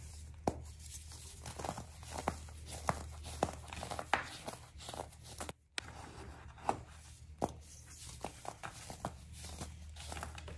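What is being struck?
Baking soda clumps.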